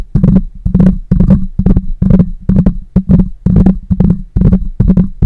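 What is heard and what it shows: Fingertips of both hands tap on either side of the hollow metal mesh grille of a black microphone. The taps come in quick, uneven clusters of heavy, boomy low thuds with a faint bright crackle on top. Each tap dies away almost instantly.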